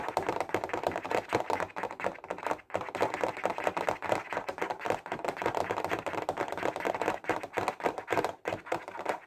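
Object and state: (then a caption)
Plastic highlighter case, fast tapped. A clear plastic Stabilo case full of 15 highlighters is held horizontally and tapped fast with fingertips. The result is a continuous stream of rapid, dry plastic clicks and taps, centred in the midrange, with very short decay and little low end.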